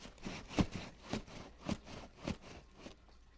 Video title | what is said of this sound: Multiple Wishlist Plants Unboxing - Revamping My Collection Series - Episode 1 - Large Commons | That's a lot of shaking.